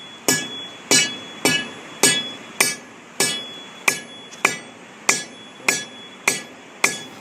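A hammer strikes a sand-covered area of a concrete bridge deck 12 times at a steady pace, each hit a sharp, bright clank with a short, high metallic ring around 2.3 kHz and almost no low end. The sand spread over the area jumps on the delaminated section when struck, helping distinguish the delaminated concrete from sound concrete.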